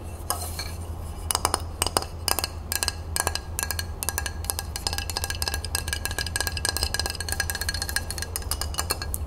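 A flat rectangular glass tray with a printed crown design, held upright, is tapped and scratched across its surface with long acrylic nails. Many quick, bright clicks and short scrapes follow one another with little ring. A steady low hum sits underneath.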